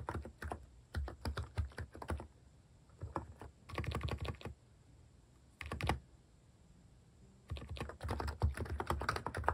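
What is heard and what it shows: Fingers type on a compact plastic mechanical keyboard with cat keycaps, giving bursts of quick, dry clacks with a deep thocky body and brief bright ticks. The typing comes in several runs separated by short quiet pauses, with no lingering ring after each keystroke.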